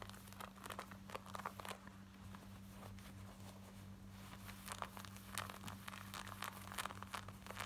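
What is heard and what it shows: Long nails scratch rapidly along the waistband and front of worn black denim jeans on the body, producing quick, rough, bright scratching bursts. A steady low hum runs underneath throughout.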